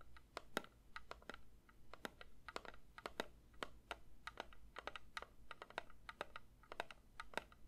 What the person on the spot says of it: 3:47 Metal candle tin tapping